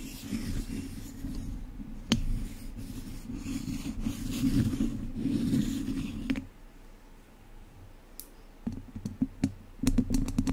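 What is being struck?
Wire-mesh microphone grille scratched with wooden chopsticks.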